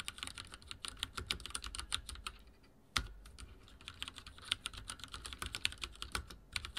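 Rapid typing taps from the fingertips of both hands on a full-size backlit mechanical keyboard with dark plastic keycaps and linear switches, resting on a wooden desk. The clicks are bright and short with little low end, pausing briefly before a sharper, heavier strike near the three-second mark, then resuming a quick, steady rhythm.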